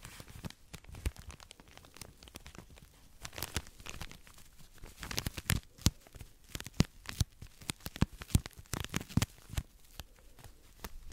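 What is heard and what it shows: Long acrylic nails scratch and squeeze a tall cylindrical pack of soft, compressible cotton pads in a thin plastic wrapper, held close to the microphone. The result is dense, irregular crinkling and crackling, made of many short, sharp ticks that spread bright and high over a soft low rustle and grow busier and louder in the second half.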